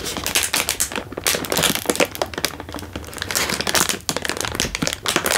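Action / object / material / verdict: shake / instant noodle packet in plastic wrapper / plastic film / none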